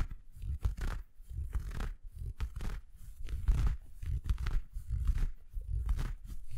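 Fingertips scratch an empty red felt Christmas stocking with a white plush cuff close to the microphone. The result is a string of irregular, rough scratching bursts, mostly a deep, muffled rumble with faint brighter rasps on the stronger strokes.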